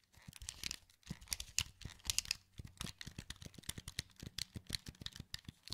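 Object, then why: Plastic game controller. Thumbs press the face buttons and joysticks of a hollow, wired black plastic PS2 controller held in both hands. The result is a quick, irregular run of crisp, bright plastic clicks and taps with a light low thump under each. Every click is short and dry with almost no ring.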